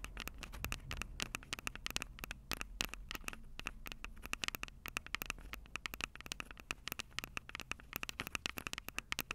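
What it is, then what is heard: Handheld audio recorder microphones tapped with fingernails. Long purple acrylic nails tap rapidly on the two metal-grilled microphone capsules of a Tascam DR-05 handheld recorder with a plastic body. Around sixty short, dry, clicky taps with no ring patter in quick succession, bright and centered near 2.8 kHz, over a soft low rumble.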